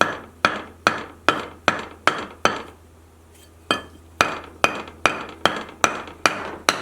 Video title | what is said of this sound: Plaster Blaster | you can hear it makes a different ring